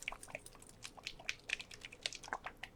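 A plastic bottle of Folk Art metallic acrylic glitter paint, which looks like clear white glue, is shaken by hand. A quick run of soft, bright clicks and rattles comes from the contents knocking inside, each tap dying away at once, with almost no low end.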